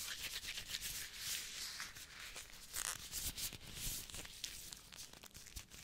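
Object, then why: Thin disposable vinyl gloves on hands. Thin, clear disposable vinyl gloves are worn on both hands, and the gloved fingers and palms are rubbed against each other close to the microphone. The result is a bright, crinkly, squeaky friction sound in irregular bursts of swishing and rustling, with little low end.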